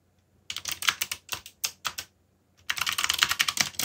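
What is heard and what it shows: Fingertips type on a backlit mechanical computer keyboard with plastic keycaps, giving quick, bright, crisp clicks with very little low end. A run of separate keystrokes is followed by a short pause, then a faster, denser burst of typing.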